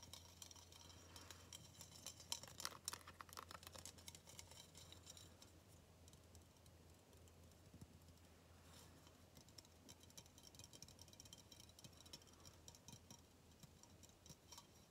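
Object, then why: Aluminum aerosol can. A hollow aluminum shoe-freshener aerosol can with a metal body and a yellow plastic cap is held up and tapped and scratched with fingertips and nails. Quiet, rapid, irregular clicks and scratchy rustling sit mostly in the high frequencies, with a busier burst of taps around two to four seconds. A steady low hum runs underneath throughout.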